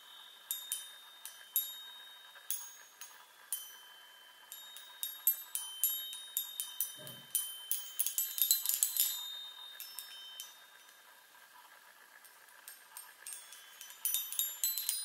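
Long nails tap rapidly on the hollow metal tubes of a small handheld chime set on a wooden frame. The result is a quiet, irregular patter of bright, high, bell-like pings with short rings. It becomes a dense cluster of overlapping tones midway, pauses briefly, then resumes near the end.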